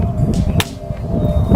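A plastic toy sword, stamped out of plastic, is struck and gives a dull, low thud. Two hits are heard, the first with a brief bright crack over a steady low hum. The flimsy plastic sword later breaks apart in the hand.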